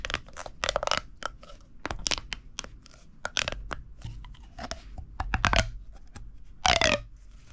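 A hollow red corrugated plastic pop tube is bent and compressed by the fingertips, making its ribs pop. Sharp, bright, crackling clicks come in irregular bursts over a low background. Near the end, a longer, louder squeaky burst slides downward in pitch.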